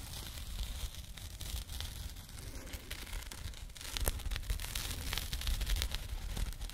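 A small labeled burlap jute pouch is held close to the microphone and scratched with fingernails. The result is a steady, dense rough scratching and rustling, with a strong low rumble and a bright, hissy top. The texture grows somewhat louder and more clustered in the second half.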